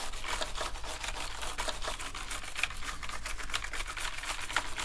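Two toothbrushes held in gloved hands scrub the keycaps of a black plastic gaming keyboard. Rapid, bright, scratchy bristle strokes and small plastic clicks repeat steadily over a low, constant hum.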